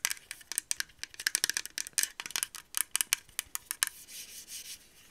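Long acrylic nails tap and scratch quickly along a grey and pink TYMO RING heated hair straightener brush, a hand-sized plastic brush with a hollow body and plastic bristles. About twenty sharp, bright, dry clicks come in a fast, uneven run with no low end. The clip ends in a second of softer, hissy scratching swells.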